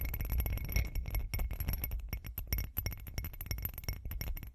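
Long acrylic nails tap the sides of a hand-sized hollow textured glitter glass cup, making rapid, continuous light clinks. Each tap is short, with a bright tick over a soft, dull low thud and a faint high ring.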